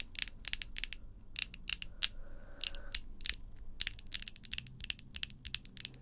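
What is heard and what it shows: Long pink acrylic false nails, small pieces of solid hard plastic, are tapped nail-on-nail against each other close up. The result is a rapid, irregular series of sharp, bright clicks that stop dead with no ring, over a soft low background hiss.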